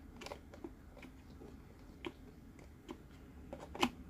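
Fingertips tap the top of the lid of a green, hollow plastic Mike Wazowski sipper cup resting on its base. Light, short, dry clicks with little ring are scattered over a quiet background, with the last tap the sharpest and brightest.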